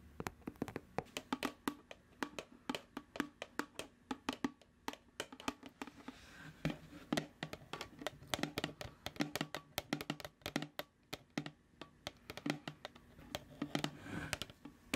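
Long nails tap and scratch a large, hollow, apparently sealed white plastic tub with a printed paper label, held in the hands. Dozens of quick, dry, hollow clicks come in a steady, irregular stream with almost no ring. Brief stretches of softer, bright scratching sit between the taps.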